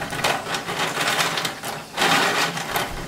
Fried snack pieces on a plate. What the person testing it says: काही कुरकुरे तळून घेतले आहे मस्त कुरकुरीत आवाज येतोय